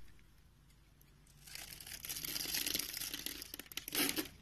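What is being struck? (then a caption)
Bar of soap. A solid, hand-sized beige soap bar held in the palm has its surface scored into a grid and carved into small cubes with a metal utility knife blade. After a quiet first second and a half, a bright, crumbly scraping and cutting scratch builds into dense crinkling crunches, with the loudest burst near the end.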